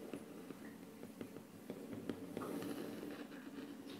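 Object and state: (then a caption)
Wood-laminate tabletop. Short painted fingernails of one hand tap and scratch across a flat, solid wood-look laminate tabletop. About five crisp, dry taps land irregularly over a soft, continuous scratching texture at low volume.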